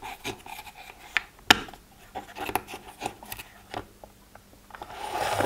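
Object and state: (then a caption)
Plastic pill organizer. Fingertips and short nails flip open and tap the hinged lids of an empty, hollow plastic pill organizer, made of strips of small translucent pastel compartments. Light, bright clicks and taps come in quick, scattered bursts with soft scratchy rubbing between them, and the sharpest snaps land near the middle. The clip ends in a denser, continuous plastic rustle.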